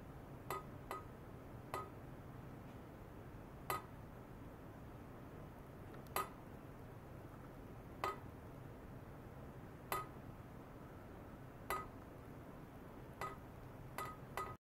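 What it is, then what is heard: Stainless steel pipe. A long hollow stainless steel pipe in foam net sleeves is tapped with the tip of a long thin metal rod, an ultrasonic probe. About 11 light metallic clinks come at uneven intervals, each with a short ringing tone near 1.25 kHz. A low, steady background hum runs underneath.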